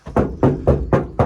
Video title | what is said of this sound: Bulkhead Removal and Sound Deadening - Renault Trafic Van Conversion Episode 3 | still really tinny and hollowy